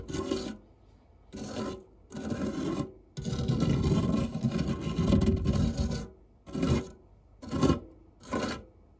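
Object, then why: Metal fluted tart tin scraped with a silicone spatula. A white silicone spatula scrapes and rubs the textured base of a round, dark non-stick metal fluted tart tin with crumbs in it. Seven separate rasping strokes are heard, with a long continuous scrape of about three seconds in the middle. The sound is a dry, low-heavy filing rasp with quiet pauses between strokes.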